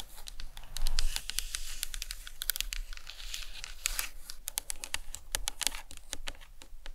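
A large hollow white plastic anatomical skull cap resting on a towel is tapped on the top and sides with long acrylic nails. The result is a rapid, uneven run of short, dry clicks with bright high-end ticks over a soft low thump, and a brief louder rustle near the start.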